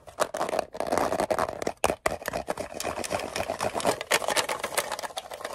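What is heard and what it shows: A small, closed, hollow green-and-white rectangular metal Altoids mint tin is tapped rapidly with fingernails. The result is a dense, continuous stream of sharp, bright clicks with a hollow metallic tone centered around 600 Hz, broken by a few brief pauses.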